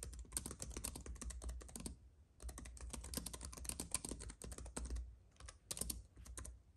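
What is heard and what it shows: Fingertips of both hands type rapidly on a compact white keyboard with plastic keys on an aluminium base, resting on a fuzzy mat. Quick, bright, clicky keystrokes come in dense bursts, with short pauses around two seconds and again near five and a half seconds, over a steady low hum. The overall level is quiet.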